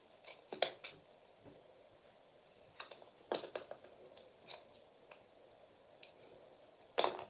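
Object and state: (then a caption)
Bar of soap being shaved with a blade. A metal utility knife blade carves and shaves thick strips off a solid, hand-sized, purple glittery Palmolive bar soap held in the palm. Quiet, crisp scraping and crunching cuts come in short, separate bursts over a soft background, with the strongest cuts near the start, in the middle, and a loud final shave at the end.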